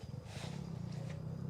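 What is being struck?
Nothing is struck.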